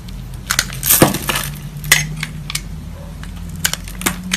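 A beige solid rectangular bar of soap, held in a hand with long yellow nails, is scraped and scored by a metal box-cutter blade that leaves flakes. Sharp, bright crackling scrapes and crunches rise over a low steady hum, with the loudest burst of scraping near the one-second mark.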